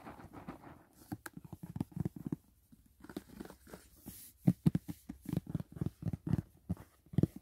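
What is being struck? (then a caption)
Rigid cardboard box lid. Fingertips and short nails tap and scratch the lid of a closed, hollow white rigid cardboard gift box printed with Dashing Diva. Soft, dull low thuds with a hollow knock come in quick uneven runs, mixed with faint scratchy brushing. Each tap dies away almost instantly, with brief quiet gaps between bursts.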